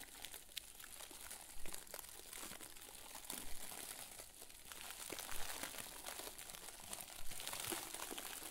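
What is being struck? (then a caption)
Plastic bag filled with soft stuffing. A round white plastic bag full of soft, fluffy stuffing is pressed and squeezed with fingers and thumbs. It gives a steady, bright plastic crinkling with louder crackles here and there, and the rustle runs on without a break.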